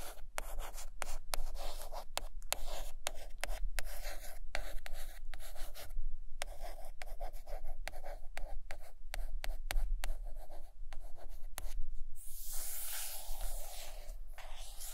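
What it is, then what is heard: Hardcover book cover being scratched. A long fingernail traces and scratches along the printed paper-laminated board cover near the top edge of a large, closed hardcover book lying flat and solid on carpet. The result is a dry, papery rasp made of short, uneven scratching strokes broken by brief gaps, with a steady low rumble underneath. Near the end, the scratching turns into a brighter, hissier sweep.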